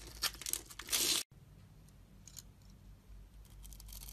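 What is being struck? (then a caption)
Bar of soap. A thin blade scores a solid blue and white striped soap bar held in the hand and scrapes off small cubes, giving dry, bright crackling and tearing scrapes. A dense burst of scraping peaks just before the one-second mark and cuts off sharply. It is followed by quieter, sparse crisp flecks over a low background hum.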